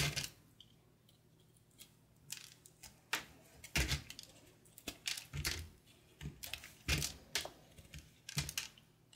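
A small patterned knife slices and scrapes brittle flakes off a solid chunk of dry, blue-and-cream marbled soap held in the hand. The result is a run of crisp, bright cracks and scratchy scrapes at an irregular pace, separated by quiet gaps, over a faint low hum.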